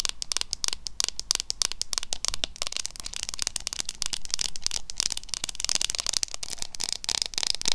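Long nails tap and scratch a small flat pink W7 "Berried Treasure" eyeshadow palette, a metal tin with a printed lid, before it is moved or shaken. The result is a steady stream of quick, bright, dry clicks and crackly scratching with no ring after each tap, over a faint low hum.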